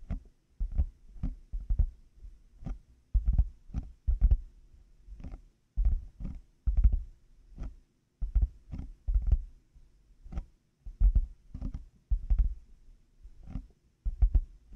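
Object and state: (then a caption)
Plastic headphone earcups tapped. Fingertips and nails tap slowly on black plastic hollow over-ear headphone earcups fitted on a 3Dio binaural mic. Each tap lands as a deep, hollow, muffled thump with a faint bright click on top, dying away almost at once. The taps come in uneven clusters with short quiet gaps between them.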